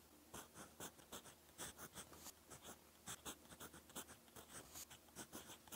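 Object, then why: Metal pen nib on a paper notebook page. A gold fountain pen nib scratches across a lined cream paper notebook page while writing Korean text. Quiet, bright, dry scratching strokes come in quick, uneven bursts with short pauses between them over a faint steady background hiss.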